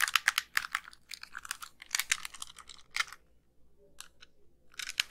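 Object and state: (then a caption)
Plastic handheld game console. Long pink nails tap and click on the shell and buttons of a small, white, hollow plastic handheld game console with a screen, held in both hands. Dense bursts of sharp, bright plastic clicks and taps fill the first three seconds. A near-quiet stretch with only a few isolated clicks follows, and a final flurry of taps closes the clip.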